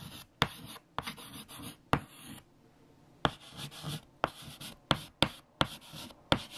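White chalk held in the fingertips writes words on a large flat black chalkboard, making bursts of dry, bright scratching strokes. Sharp taps mark where the chalk meets the board, with short pauses between strokes.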